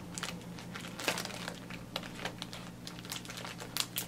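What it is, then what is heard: Plastic zip-lock bag of face masks. Fingertips press, squeeze and crinkle a clear plastic zip-lock freezer bag with a pink zipper strip, held at chest height and filled with blue disposable face masks, working along the zipper to seal it. Bright, dense plastic crinkling comes with quick sharp crackles over a faint steady low hum. The crackles die away almost instantly.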